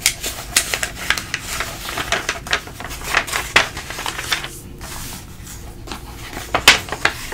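A hand flips and smooths the thin glossy pages of an open printing-industry magazine, with fingertips pressing them flat and rubbing across the paper. The clip is a steady stream of crisp, bright paper rustles and crackles, broken by sharp snapping page turns and quieter, softer stretches of rubbing.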